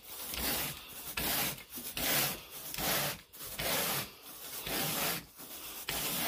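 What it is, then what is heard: Carpet pile being raked. A carpet groomer rake with a long wooden handle and a teal plastic head is pulled through wall-to-wall grey pile carpet on a bedroom floor. Seven raking strokes produce bright, hissy scraping bursts, each swelling and fading between brief quieter gaps.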